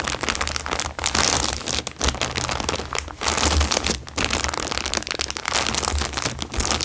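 A thin, clear plastic bag lying flat on a fabric surface is scrunched and rubbed with fingertips. The result is a dense, continuous, bright crinkling and crackling that swells and dips in short bursts. There is a faint low rumble underneath.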